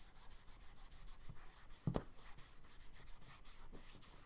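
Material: Paper.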